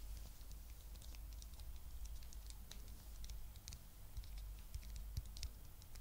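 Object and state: Plastic egg container tapped with nails.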